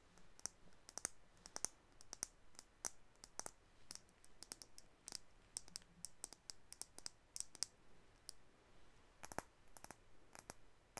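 Long acrylic nails tap and click on a white plastic makeup tube with a dark cap, producing a quiet, steady series of sharp, bright clicks over about eleven seconds. Each click is very short and dies away instantly, with energy concentrated in the high frequencies over a soft background hiss.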